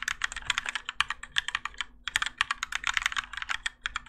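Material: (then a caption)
ABS plastic. Both hands type continuously with their fingertips on a Keychron K4 compact mechanical keyboard with Gateron Yellow switches, grey and orange ABS plastic keycaps, and a plastic and metal case, resting on a desk mat. A rapid, uneven stream of short, bright clacks comes in quick bursts, each dying away almost instantly over a faint steady low hum.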